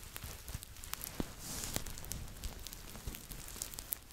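Fingertips and nails scratch and rub the fleece fabric body of a red Po Teletubby plush, a stuffed toy about 30 cm tall held close to the microphone. The result is a soft, steady crackling rustle with many quick, short scratchy clicks and a brighter hiss in the middle of the clip.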